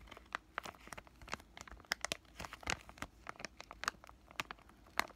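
A thin, flat, palm-sized white plastic-laminate pouch of acne patches is held at its bottom edges and crinkled and squeezed with fingertips that have short lavender nails. A quiet, steady run of sharp, bright crinkles and crackles follows, each snapping off instantly with almost no low end.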